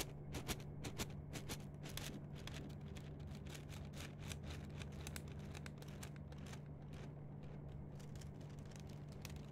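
An empty, flexible yellow-green plastic mesh net sleeve is stretched, rubbed and scratched with long nails and fingertips. Quiet, dense crackling scratches and sharp bright ticks repeat about twice a second over a steady low hum.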